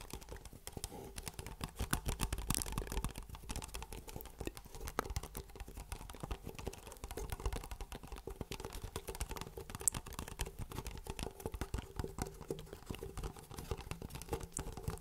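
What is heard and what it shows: A small, hollow black Pepsi Max plastic drinking cup with a white plastic lid is held close to the microphone and tapped rapidly with fingertips and nails on its sides and lid. The result is a dense, steady stream of dry, clicky taps with a soft hollow thump underneath and occasional sharper, high ticks. Each tap dies away almost instantly.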